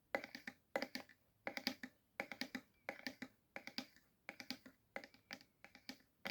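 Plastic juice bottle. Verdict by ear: Empty.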